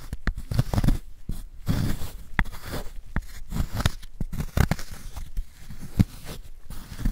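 A wooden spoon scrapes powder out of the hollow of a solid white gym chalk block held in a gloved hand. The result is a run of short, dry, crunchy scrapes and crumbling bursts, mostly low and dull with quick, ringless transients.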